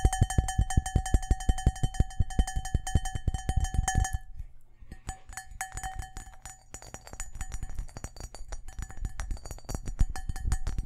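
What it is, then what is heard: Cut crystal glass bowl. A large, empty, hollow cut-glass crystal bowl is held up and turned while fingertips and nails tap quickly on its faceted surface, giving clinking sounds. For the first four seconds, dense, fast taps keep a steady bell-like ring near 700 Hz with higher overtones. After that, the taps turn softer and more scattered, with the ring fading in and out.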